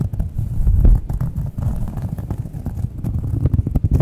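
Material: Cork.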